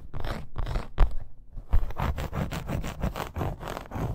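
Long acrylic nails scratch quickly across a dark red, snake-embossed faux leather wrist bracer fitted with grommets and studs. The result is a run of dry, rasping scrape strokes. A brief quiet gap near the middle is followed by a denser, steady stream of short scratches.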